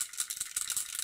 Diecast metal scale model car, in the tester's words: if you listen to the model, something rattles inside